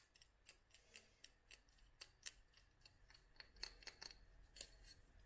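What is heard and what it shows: Long nails tap a small clear glass dropper bottle full of oil and dried flowers, making a quick, irregular run of sharp, bright clicks. Each tap dies away almost at once. There is a faint low hum in the background.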